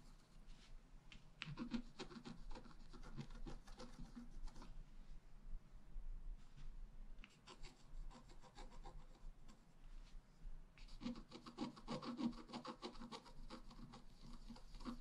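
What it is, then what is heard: Scratch-art paper being scratched. A wooden stylus point is scratched across a flat A4-size scratch-art sheet, its black coating over a rainbow layer, while the sheet lies on a table held by the other hand. Quiet, dry rubbing and rasping strokes come in busy bursts, with a calmer stretch in the middle before the scratching picks up again.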